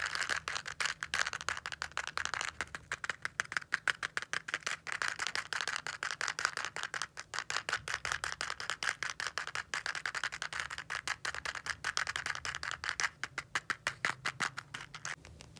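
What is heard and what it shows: Fingertips and nails tap and scratch fast on a small, hollow Kite-brand cardboard safety-match box, probably holding matches, held in both hands. The result is a dense, steady stream of dry, crisp clicks and scratchy scrapes, bright and papery with almost no low end, and a faint rattle.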